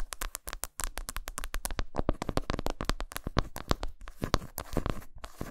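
Long pointed nails quickly tap and scratch the smooth back side of a flat, solid milk chocolate bar lying face-down on a towel, with shavings building up. The result is a rapid, dense stream of short, dry clicks and scrapes with no ring, each carrying a soft low thump beneath brief bright streaks. A small gap near the start and another near the end break the flow.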